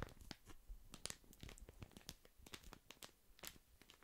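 A small, flat printed paper sachet, a tea or infusion packet, is held close to the microphone and crinkled and rubbed with the fingertips. It gives dense, quick bursts of crinkling and tearing-like crackle, with bright, sharp snaps over a low, soft handling rumble.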